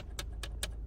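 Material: Plastic.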